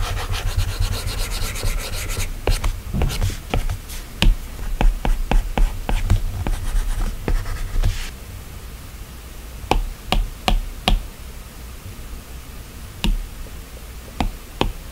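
A plastic stylus tip rubs and taps across the flat, solid glass touchscreen of an iPad while drawing and selecting menus. For the first eight seconds there is continuous scratchy rubbing with bright, brief clicks, over a steady low hum. After that, sharp isolated taps stand out against quieter background noise.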